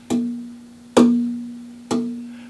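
A finished, braced acoustic guitar back of dark wood is tapped three times for tap tuning. Each tap gives a short bright knock followed by a clear, steady tone around 240 Hz that rings out and slowly fades. The back shows good sustain.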